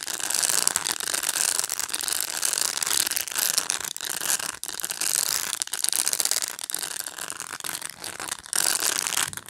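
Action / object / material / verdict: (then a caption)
scrape / plastic pet brush / plastic / none. Fingertips and nails pluck and scratch the plastic bristles of a black pet brush up close. The result is a dense, continuous, bright crackling rasp, like a rapid ratchet, with almost no low end and brief dips between strokes.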